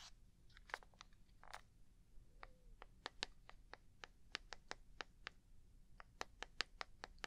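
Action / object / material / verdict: tap / small plastic box / plastic / none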